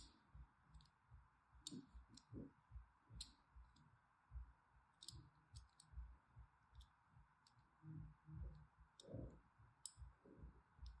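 A thin dark-handled blade scores lines across the corner and face of a solid pink rectangular bar of soap held in the hand. About thirteen quiet, irregular scrapes are heard, each a soft low scratch topped by a short, sharp, bright click that dies away almost at once, over a faint steady hiss.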